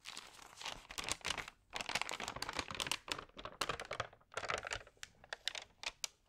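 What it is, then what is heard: Paper magazine pages crinkling. Hands rub and flip the pages of a damp, thin paper magazine up close, making dense, bright crinkling and rustling in bursts with short quiet gaps between.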